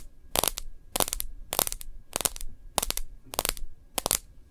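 Long nails tap and scratch the edge of a plastic case and the screen of a smartphone in it. Seven quick bursts of sharp, clicky taps and bright scratching come at a steady rhythm, each ending almost instantly, with near silence between them.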